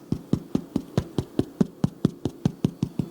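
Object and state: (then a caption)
Baked-through bread loaf, hollow. A white sandwich bread loaf is tapped right after 25 minutes of baking, giving 15 short, dull, hollow-sounding knocks at a steady pace. The low taps have almost no ring, the near-hollow sound expected of a loaf that is baked through.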